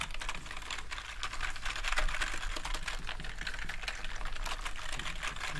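A soft bristle brush held in a gloved hand sweeps and rubs over the keycaps of a full-size black plastic gaming keyboard resting on a table. The result is a continuous, dense stream of bright, scratchy bristle noise mixed with rapid light plastic clicks and rattles from the keys, over a low, steady hum.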